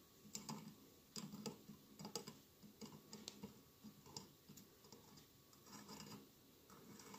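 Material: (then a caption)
Glass. Fingertips and nails scratch and rub across the bumpy glass mosaic tiles of a hollow glass votive candle holder with a lit tealight inside. Quiet, irregular bursts of crisp, bright scratching and small clicky ticks come over a soft, steady hiss, each one dying away almost at once.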